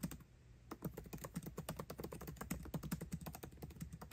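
Fingertips type quickly on a MacBook Pro laptop keyboard with plastic keycaps set in an aluminum body. The result is a rapid run of short, soft, low clicks with a dull thud around 180 Hz and brief bright ticks. A brief pause falls near the half-second mark before the typing picks up again.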